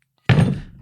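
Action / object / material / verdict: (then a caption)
drop / metal weight plate dropped on a table / iron / heavy. A 25 lb metal weight plate from a weight bench is dropped onto a table. It lands with a single heavy, low thud and a short boomy ring that fades within a fraction of a second.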